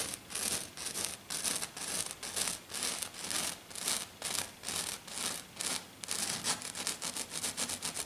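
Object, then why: Glitter sheet. Fingernails scratch quickly across a flat silver glitter sheet lying on a table as one hand moves over the surface. The result is a fast, loosely uneven run of bright, hissy scratching strokes, roughly two per second, with almost no low end.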